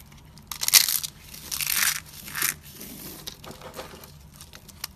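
Bare fingertips and palms squeeze and crush handfuls of brittle, dry pink and white soap shavings piled on a white surface. Bright, dry crunching bursts rise and fade, the loudest early on, then trail off into softer crackles and faint ticks.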